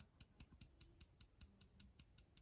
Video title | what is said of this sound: Sencut Episode!!!! Great knife 🔪 | listen that rattle ... that's that pin that's making that noise